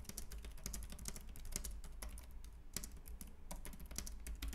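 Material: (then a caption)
Plastic. Both hands type rapidly with their fingertips on a white, compact plastic Logitech K380 keyboard with round keys. A dense, continuous stream of bright, short plastic key clicks rides over a steady low hum.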